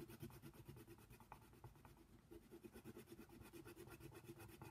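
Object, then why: Wooden colored pencil on a paper coloring book page. A wooden colored pencil held in the fingers shades a giraffe's mouth on the thin white paper page of a coloring book lying flat on a table, using short back-and-forth strokes. A quiet, steady, low scratching rasp pulses with each stroke, with no ring after the sound.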